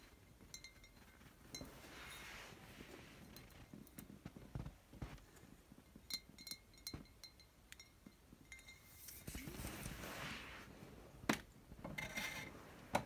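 Glass wine bottles from a home collection are tapped and clanked against one another at an irregular pace, giving short, bright clinks with a quick ring. Softer rustling and brushing fill the spaces between the hits, and a couple of sharper clanks stand out near the end.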